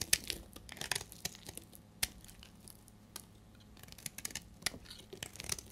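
A solid, dried amber bar soap held in the hand is scraped and shaved with a utility blade. Short, dry, bright crackling and scraping bursts come in quick irregular runs with brief quiet gaps. Each shaving stroke gives a crisp, high, brittle rasp that stops almost instantly.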